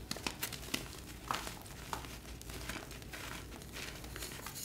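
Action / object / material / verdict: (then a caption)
scrape / gym chalk blocks (magnesium carbonate) / chalk / none. Both hands crush and squeeze solid pastel glittered gym chalk blocks (magnesium carbonate) in a tray, rubbing them into crumbs and powder. Sharp, bright crunches and crackles stand out at irregular moments over a steady, grainy crumbling rustle.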